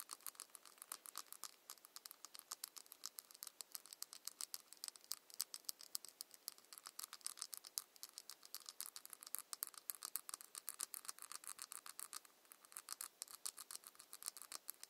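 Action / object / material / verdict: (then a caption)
scrape / ribbed plastic cap on a small ceramic bottle / plastic / none. Long nails scratch along the ridges of a ribbed plastic cap on a small ceramic cosmetic bottle. The result is a steady stream of quick, dry, bright clicks and rasps for the full 15 seconds, quiet and thin with no low end.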